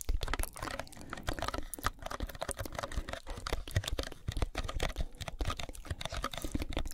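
Long almond-shaped nails tap and scratch quickly on a small, hollow white cardboard box held upright near the face. The result is a dense run of short, dry clicks and papery scrapes with a hollow, low-heavy thump and almost no ring after each hit.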